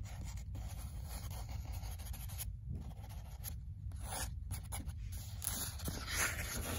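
Long nails and fingertips scratch and rub across the printed paper pages of an open paperback book. A steady, soft scratchy rustling continues throughout with no clearly separated hits.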